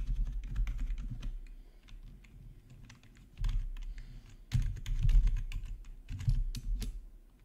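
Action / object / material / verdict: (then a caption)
tap / plastic computer keyboard / plastic / none. Both hands type rapidly with their fingertips on a black plastic RGB backlit gaming keyboard. Dense runs of short, sharp key taps carry a deep, thumpy low end, with fresh louder bursts of typing starting around 3.4, 4.6 and 6.2 seconds between quieter stretches.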